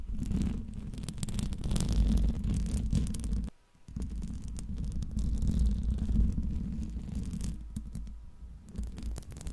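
Long pink nails scratch the hollow metal mesh grille of a silver Blue Yeti microphone with both hands. The result is a dense, rapid, low rumbling scrape, with a brief drop to near silence about halfway through before the scratching resumes.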